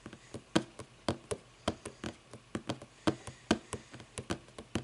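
A book is tapped with the fingers for ASMR, giving an irregular run of about 22 quick, dry taps with short knocking thumps and almost no ring.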